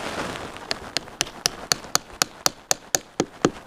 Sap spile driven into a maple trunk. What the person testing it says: until the sound changes they say